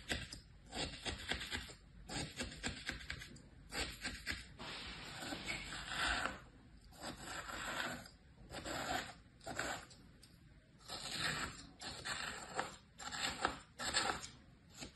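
A small tool scrapes lines across packed kinetic sand in a mint plastic tray stamped with shapes. Dry, gritty scratching comes in repeated bright bursts separated by short pauses, each stroke fading out quickly.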